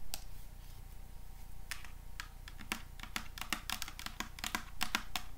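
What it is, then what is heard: Plastic spray bottle tapped with metal nails. A small hollow plastic body mist spray bottle with an orange printed label, held in the hands, is tapped and scratched with paper clips worn on the fingertips as long metal nails. Quick, bright clicking taps and light scratches come in an irregular run over a steady low hum.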